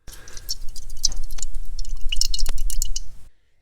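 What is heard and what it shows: A brass float from a Tecumseh carburetor is shaken close to the microphone, giving about three seconds of soft, irregular sloshing and light ticking. The liquid heard moving inside shows the float has leaked and filled with gasoline, making it too heavy to float properly.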